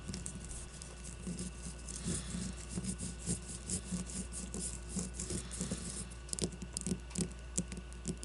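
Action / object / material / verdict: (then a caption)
scrape / leather baseball / leather / none. A solid white leather baseball with red stitching is held on a table while long nails scratch and tap its leather surface. The result is a quiet, steady patter of short, dry taps and brushing scratches, with faint bright hiss in the scratches over a low, constant hum.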